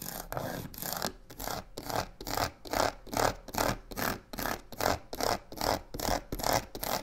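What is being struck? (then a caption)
Box covered in textured faux leather. Long pink-painted nails and fingertips quickly tap and scratch along the side of a medium black box covered in embossed crocodile-pattern faux leather with white stitching along its edges, which looks rigid and probably hollow and sits on a wooden table. The result is a steady rhythm of aggressive, dry, raspy scratching swells with quick taps mixed in, the texture hissing bright and noisy with a mid-range body and almost no ring after each stroke.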